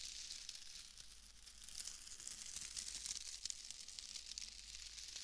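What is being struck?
Shredded wood wool bundle.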